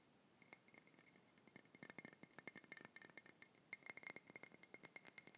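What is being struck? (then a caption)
Ceramic mug. A hollow, seemingly empty grey ceramic mug with a handle is held in the hands and tapped and clinked with fingertips and nails. A rapid, irregular series of short, bright clicks and clinks follows, each dying away almost instantly, with a faint high ring near 2 kHz. The taps grow slightly louder and denser toward the end.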